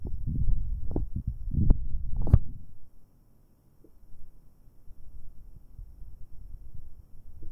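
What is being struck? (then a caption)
Metal microphone capsules. Two fingers in rubber finger cots rub directly on metal binaural microphone capsules, producing deep, muffled rumbling and thumping with a few sharper, brighter scrapes in the first three seconds. After a brief near-silence, the rubbing continues more softly as a low, irregular murmur.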